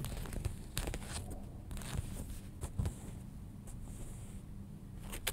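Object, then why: Denim jeans. Fingernails scratch the back pocket and seams of folded denim jeans, on the back side with a pocket and paper label. Short, rough scratching strokes come in uneven bursts, with bright rasping texture over a soft low rumble, and one brief steadier hiss partway through.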